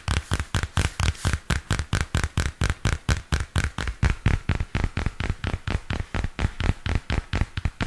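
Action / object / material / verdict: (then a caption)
tap / spiral-bound paper notebook with glossy card cover / paper, card / none. A small purple spiral-bound paper notebook with a glossy card cover has its cover and spiral scratched and tapped with fingernails. About 37 quick, dull taps in a steady run, each a low, dry thud with a bright scratchy edge that dies away almost instantly.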